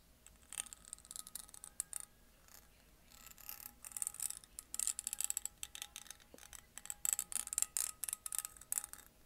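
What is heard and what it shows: A small, empty, clear glass mason jar with a metal screw lid is held close to the microphone and tapped with painted fingernails. Rapid, uneven bursts of quiet, bright, clicky taps come in clusters, each dying away almost instantly with a faint glassy ring.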